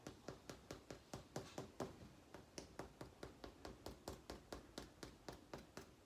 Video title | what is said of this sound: Hard Dough Bread from scratch | that doesn't sound hollow they're done